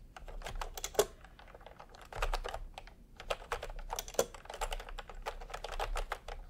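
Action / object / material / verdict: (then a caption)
tap / plastic keyboard with round keycaps / plastic / none. Bare fingertips of both hands type fast, repeated presses on a full-size pastel plastic retro keyboard with round plastic typewriter-style keycaps, resting on white fabric. A steady stream of short, dry plastic clacks with almost no ring follows, centered in a mid pitch with a soft low thump. A few sharper, louder key strikes stand out near the 1 and 4 second marks.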